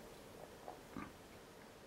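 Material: Nothing is struck.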